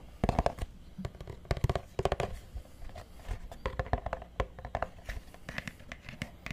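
A solid purple hardcover book, held at an angle and then laid flat close to the mic, is scratched and tapped with fingertips and nails along its cover and edges. It gives a steady run of quick, dull, low-toned taps mixed with soft scratchy rasps, each dying away almost instantly.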